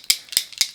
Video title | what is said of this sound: Buy or Beware - Rare Beauty Foundation & Concealer Review | you can hear there's like a little shaker bead in there